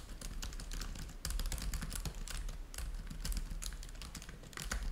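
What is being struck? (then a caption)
Laptop keyboard with plastic keys. Both hands type rapidly with their fingertips on the plastic chiclet keys of a black laptop keyboard with a trackpad, the device lying flat on a white table. Dense, quick clicky taps with bright upper clatter run continuously over a steady low hum.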